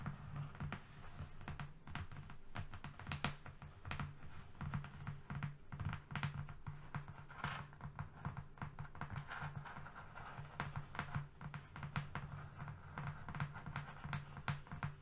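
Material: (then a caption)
Cardboard. Long fingernails on both hands rapidly tap and scratch a long, flat strip of thin, solid brown cardboard resting on a fluffy rug. The result is a dense stream of quick, dry clicks and scratchy strokes. It has a low, hollow thump around 140 Hz under brighter crackly edges.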